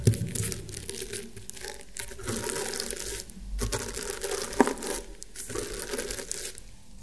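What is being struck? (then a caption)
Woven rattan round table mat. Fingernails scratch across the woven ridges of a flat, round woven rattan table mat, making a steady, dry, crinkly scratching with bright texture over a low undertone. The scratching comes in continuous strokes separated by brief pauses, with a sharp louder click near the start and another just past the midpoint.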